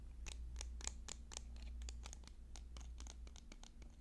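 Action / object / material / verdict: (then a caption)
tap / bundle of wooden pencils / wood / none. Fingernails tap and scratch quickly along a bundle of several sharpened yellow wooden pencils held in the hands. The result is a fast, uneven series of short, crisp clicks and scrapes over a steady low hum.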